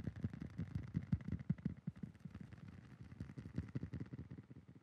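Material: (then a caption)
Metal. A metal novelty licence plate is tapped rapidly with fingertips, giving about thirty quick, uneven taps. Each tap is a soft, dull thud centred low, with a faint hollow tone near 2 kHz and added echo.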